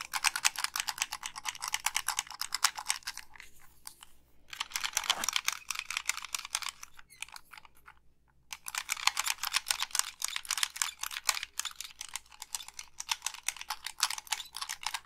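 Long pink nails tap the hollow plastic body of a black Xbox 360 gamepad and click its face buttons and thumbsticks. The result is rapid, dry, bright clicking and tapping with almost no low end, in dense bursts separated by brief pauses around four seconds and again near seven to eight and a half seconds.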